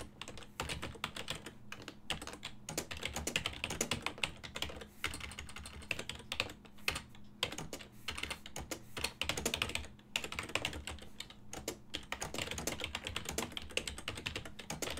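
Fingertips type steadily on a full-size silver-and-black plastic desktop keyboard with hollow key switches, producing dense, bright, hollow key taps that die away almost instantly. The typing comes in bursts with brief pauses, over a faint steady low hum.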